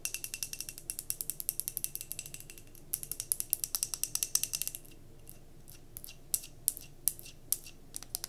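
Long nails rapidly tap and scratch a glass mason jar candle, filled with solid cream wax and wrapped in a paper label, as it is held in the hands. Dense, bright, clicky taps run for about five seconds, then thin out into slower, scattered taps over a quiet hiss.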